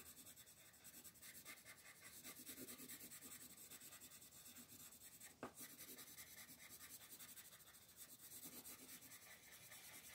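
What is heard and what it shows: A colored pencil is rubbed in steady shading strokes across a flat paper coloring book page in dim light, while a second pencil lies still on the page and the other hand, with long dark nails, holds the page. The sound is a continuous, soft, bright scratchy rasp with a rhythmic stroke-by-stroke pulse. A single sharp tick stands out about halfway through.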